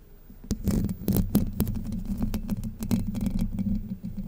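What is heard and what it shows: Long white nails scratch across the hollow domed steel mesh grille of a Blue Yeti microphone. The result is a dense, close scratching and tapping with sharp clicks over a steady low resonant hum near 200 Hz.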